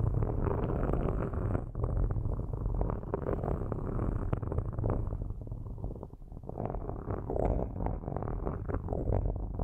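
Straight metal sticks scratch the metal mesh grilles on top of two black microphones. The result is a steady, dense run of quick rasping strokes, heavy in low rumble with little brightness. The scratching dips briefly near the six-second mark before picking back up.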